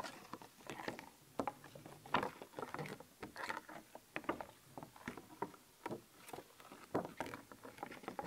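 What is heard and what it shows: Long painted nails scratch and tap across the raised stickers on a thin, flat, glossy plastic sheet of black-and-white skeleton-animal stickers held in one hand. The result is a quiet, dry patter of rapid, irregular clicks and crinkly scrapes centered in the midrange, with each tap dying away almost instantly and very little low end.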